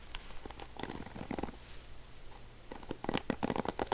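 Fingertips scratch and strum across the dense nylon bristles of a dark blue plastic paddle hairbrush with a gold handle, held up close. The result is quick, dry, crackling scratches with bright edges, sparse at first and then coming faster and louder toward the end.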